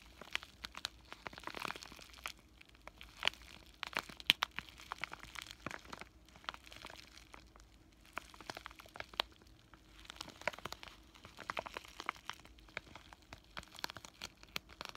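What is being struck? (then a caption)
Plastic bubble-wrap zip pouch. Fingertips and short nails press, crinkle and scratch the surface of a flat pink bubble-wrap plastic zipper pouch with a paper insert. Soft, bright crinkling and rustling run throughout, dotted with many sharp little clicks and crackles that stop almost instantly. The sound stays quiet with almost no low end, coming in uneven bursts with brief calmer pauses.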